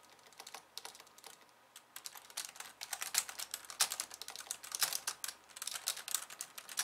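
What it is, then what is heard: Plastic computer keyboard. Fast typing with long painted nails and the fingertips of both hands on a pink low-profile plastic keyboard with white keys, resting on a wooden desk. It makes rapid, bright, clicky taps with almost no low end and very short decay. The taps start sparse and quiet, then grow denser and louder after the first two seconds.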